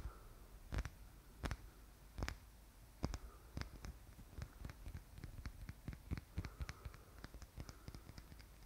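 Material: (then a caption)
Wood. A small black painted wooden Easter egg is held in both hands while fingernails tap and lightly scratch its lacquered surface. Quiet, sharp, dry clicks come in an irregular series, with faint scratchy rustling between them.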